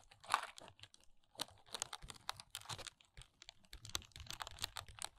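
Long nails tap and scratch the sides and top of a small, hollow paperboard press-on nail box with a plastic window. The result is a steady run of quick, dry taps mixed with bright, scratchy rasps, each tap dying away almost at once.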